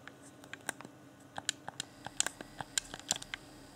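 A fingertip taps and clicks the buttons beside the D-pad of a hand-sized, hollow, transparent plastic Xbox One Afterglow game controller with its yellow LED lit. About fourteen sharp, dry, bright plastic clicks land at an uneven pace, each dying away almost instantly over a faint low hum.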